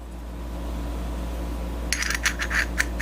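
A metal housing part from a Viair 480 air compressor, which feels like plastic but is aluminum, is tapped and gives about seven quick, bright metallic clinks near the end of the clip. A steady low hum runs underneath throughout, and the ringing tone confirms the part is metal.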